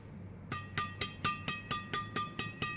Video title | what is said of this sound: siken IP 8000 limited...raket lawas..asli jepang..9/10 | suaranya nyaring sekali, padahal hanya tarikan 25. Berarti ini bahannya solid banget ini